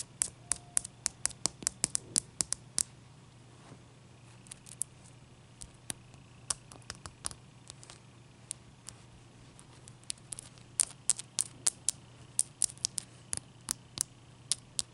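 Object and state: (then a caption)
Ice cube. Long dark-painted nails tap and scratch a large, clear, solid ice cube resting on a towel. Dozens of sharp, very short, bright clicks come in quick bursts with brief pauses. Between them, faint scratching sits over a steady low hum.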